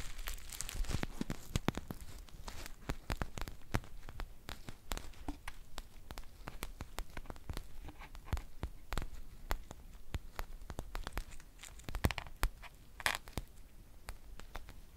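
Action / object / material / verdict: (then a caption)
scrape / foil tea pouch / foil / none. A green foil tea pouch is crinkled and scratched with long nails. Dense, rapid crackling and sharp scratchy ticks run throughout, bright and dry, with quick, irregular bursts that never settle.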